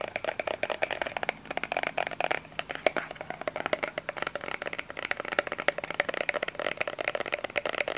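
Fingernails tap and scratch a small cream plastic lotion bottle with an orange cap, making a quick, steady run of dry, hollow clicks mixed with short scratchy strokes. The taps have a midrange plastic tone around 600 Hz with bright edges, and each dies away almost instantly with no ring.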